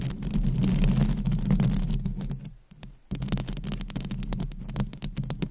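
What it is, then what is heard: Metal microphone grille scratched with nails. Both hands scratch the hollow, dome-shaped metal wire-mesh grille of a Blue Yeti-style condenser microphone, with no foam cover, using long pointed acrylic nails. The result is a dense, rumbling throb with rapid scratchy ticks and bright crackles. It dips nearly to silence around the middle before the scratching resumes.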